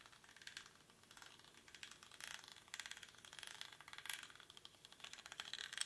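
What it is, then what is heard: Woven rattan basket. Fingernails scratch the weave of a small, hollow woven rattan or reed basket held in both hands. The result is a quiet, bright, dry crackling rasp of rapid fine ticks with almost no low end. It swells in short bursts and stops dead with no ring.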